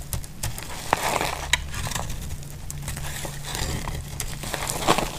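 A utility-knife blade shaves curls from the edge of a solid, dry, pink embossed bar of soap held in the hand. The sound is a steady crisp crackling and crinkling scrape, broken by a few sharp bright snaps, over a constant low hum.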